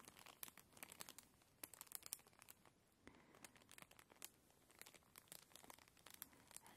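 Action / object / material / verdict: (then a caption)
scrape / thin plastic bag / plastic / none. A labelled transparent plastic bag lying on a cushion is scratched and crinkled with long glittery nails. Dense, bright crinkling and crackling runs throughout, broken by many sharp, quick taps and scratches that stop instantly with almost no ring. The sound is soft overall and carries very little low end.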